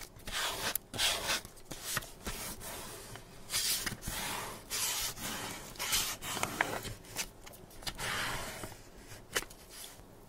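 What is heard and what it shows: A flat, thin kraft paper envelope with vintage ticket-style print lies on a cutting mat while one hand holds it and the other rubs a small white tool across its surface to burnish it down. Bright, dry papery rubbing and scraping strokes come in uneven bursts, with a few sharper ticks between them.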